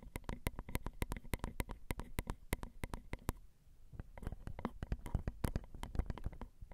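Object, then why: Metal mesh microphone grilles. Long rhinestone acrylic nails tap the metal grilles of a Zoom recorder's XY microphone, its small hollow metal mesh capsules. A rapid series of short, dry clicks carries a heavy low thump and dies away almost instantly. After a brief lull near the middle, the tapping resumes in a looser, more uneven pattern.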